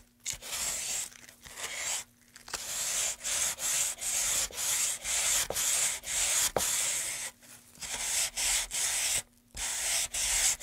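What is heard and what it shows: A light, solid pine moulding board about 30 cm long is held in gloved hands and rubbed with a small piece of sandpaper along its carved groove. About sixteen short, bright, scratchy sanding strokes follow one another with brief pauses between them. The strokes sound dry and hissing, with almost no low end.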